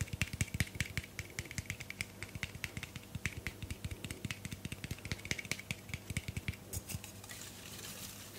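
A tall teal Moroccanoil aluminium aerosol hairspray can with a white plastic cap and hollow metal body is held in one hand and tapped and scratched with long painted nails on the body and cap. Rapid, irregular, short tinny clicks and hollow knocks with a low resonant thump fall over a faint steady low hum. Near the end they give way to a softer, steady bright scratching hiss.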